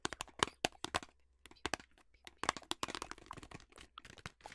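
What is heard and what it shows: A hollow, apparently closed yellow printed cardboard food box is held in the hands and tapped and scratched with long nails along its faces and edges. Sharp, dry clicks and crackly scraping come in irregular bursts, bright and quick with almost no ring. Short quiet gaps fall between clusters of taps.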